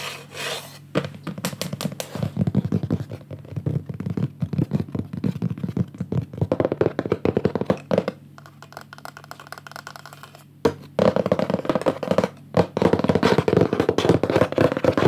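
Fingertips and short painted nails tap rapidly on the lower wooden edge of a medium wooden picture frame, held upright, with a green mat and cockatoo artwork. Dense, dull, short taps and soft scratchy rubs run throughout, quieter between about 8 and 10 seconds, then denser and louder toward the end.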